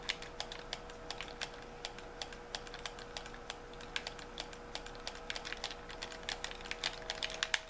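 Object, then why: Plastic game controller. Thumbs rapidly tap and press the buttons of a white, hollow, handheld plastic gamepad, producing a fast, uneven stream of short, bright plastic clicks. A faint steady tone runs underneath.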